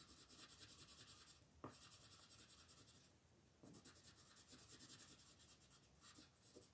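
A light green wooden colored pencil shades a flat paper coloring book page near a dragon in small rubbing strokes, with the other hand resting flat on the page. A quiet, bright, rhythmic scratchy rasping repeats steadily, broken by short pauses and a few soft taps as the pencil lifts and resets.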